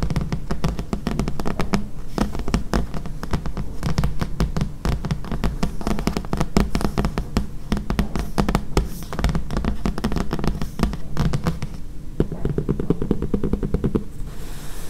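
Long fingernails rapidly tap and scratch a thick paperback book with a paper cover lying flat. The result is a dense, steady stream of short, dull, low-pitched taps with brief scratchy rustles and almost no ring.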